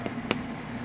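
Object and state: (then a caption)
Hollow-sounding baked sourdough loaf. A freshly baked sourdough sandwich bread loaf, baked in a pan set on a stone pan, is tapped twice, giving two short, dull, hollow knocks over a steady low background hum. The hollow sound shows the bread is done.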